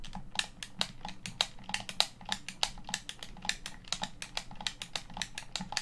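Fingertips and thumbs tap and press the face buttons of a hollow, hand-sized black plastic Xbox One controller. The result is a rapid, uneven stream of short, dry plastic clicks with a bright edge around 3.8 kHz, each dying away almost instantly, over a faint low hum.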